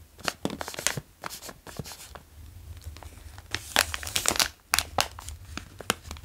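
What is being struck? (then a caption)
Plastic snack bag of cheese puffs. A medium-sized crinkly plastic bag of Cheez Doodles, full of cheese puffs, is held in one hand while the fingertips of the other tap and trace across it. Bright, short crinkles and crackles come in quick bursts with brief pauses between them.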